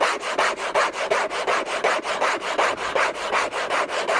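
Short nails on a hand wearing a thin bracelet scratch hard and fast across the surface of a large, flat, hollow orange Hermès cardboard box lid. Thirteen rough, raspy strokes come in a quick, fairly steady rhythm, each a dry scraping burst centered in the mid-range with a bright hiss and no low rumble.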